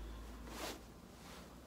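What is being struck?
Nothing is struck.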